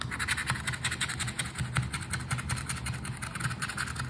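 A hand scrapes the coating of a flat paper Aranha da Sorte scratch card with the edge of a red and gold token. It makes a steady run of quick, dry, raspy scratching strokes over a low rumbling undertone, in an uneven rhythm.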